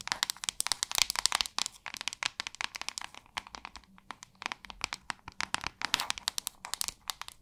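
Long acrylic nails scratch and tap the back of a hand-sized white plastic paddle hairbrush. The result is a fast, dry stream of crisp clicks and crinkly scratches in uneven bursts, bright and thin with almost no low end. Each tap dies instantly, with no ring.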